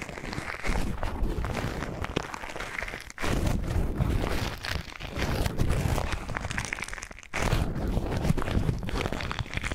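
An empty white paper tea filter bag is crinkled, folded and rubbed between the fingertips. The result is a dense, continuous papery crinkling and rustling with a heavy low-end body. It pauses briefly twice before resuming.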